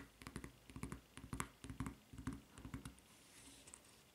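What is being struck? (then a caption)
Rubber flip-flop footbed. Long fingernails tap and scratch on the textured footbed of a white rubber flip-flop with a red strap, producing seventeen quick, dull taps with short crisp clicks. The tapping settles into a softer scratching hiss near the end.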